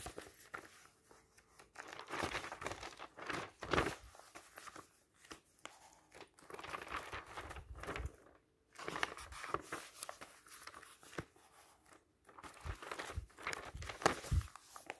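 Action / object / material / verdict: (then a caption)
flick / glossy paper magazine / glossy paper / none. A large, thin glossy paper magazine lies open on a table while fingertips grab and flip its pages one after another. The pages rustle, crinkle and slap in bursts of broadband papery noise, separated by brief quiet pauses.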